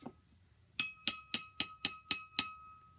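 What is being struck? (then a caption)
Drinking glass with water. A glass filled halfway with water is tapped seven times in a steady rhythm. Each tap gives a short, bright clink with a ringing tone. The half-full glass sounds different from the full one.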